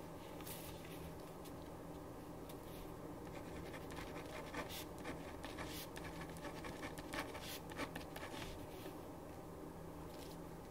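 A ballpoint pen writes in scratching strokes on a thin printed paper sheet lying flat on a wooden desk. Quiet, irregular scratches with brief bright bursts sit over a steady low hum.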